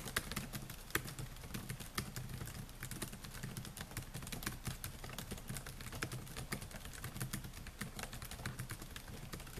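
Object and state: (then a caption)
Plastic laptop keyboard being typed on. Fingertips type continuously on the plastic keys of a silver Dell laptop with a metal and plastic body, making a steady stream of quick, dry taps. Each tap is a short, bright click that dies away almost instantly, over a constant low hum.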